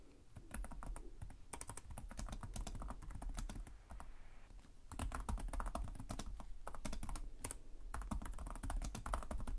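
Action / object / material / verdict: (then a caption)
tap / plastic laptop keyboard / plastic / none. Typing with the fingertips of both hands on the plastic keys of a black laptop keyboard. Quick, dry key clicks with bright edges run in bursts over a low hum, with a short pause around four seconds before the typing picks up again more steadily.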